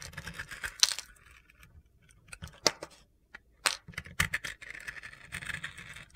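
A metal utility knife blade scrapes thin shavings off a solid rectangular bar of soap held in hand, cutting through its pink-red glitter coating to expose the white soap underneath. Bright, gritty crackling scrapes come in irregular bursts, with a few sharp, crunchy clicks standing out between quieter rustling.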